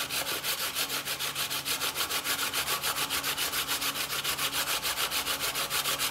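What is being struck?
Fresh coconut flesh on a steel box grater.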